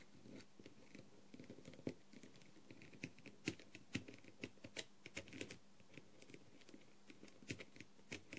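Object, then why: Plastic mask covered with rhinestones. A clear plastic tool tip taps rapidly across the gems of a blue, rhinestone-covered plastic masquerade mask. Quick, crisp clicks arrive in an uneven stream, some sharper and louder than others, each bright and dying away almost instantly over a faint, steady low hum.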